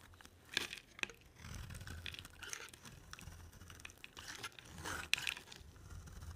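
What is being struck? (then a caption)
Bar of soap cut with a knife. A solid cream oval bar of soap, held in the hand, is carved and scraped with a black-bladed utility knife, producing dry shavings. Quiet, crisp scraping and crumbly crunching come through with sharp clicks and bright rasps at a low level.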